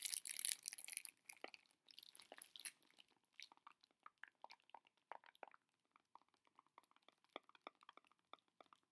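Fingertips and nails scratch and crinkle the cellophane wrap on a small heart-shaped candy box. It opens with a dense, bright hiss of crackling plastic that thins over the first three seconds into scattered, irregular sharp ticks and crinkles. All of it is high and crisp, with no low end.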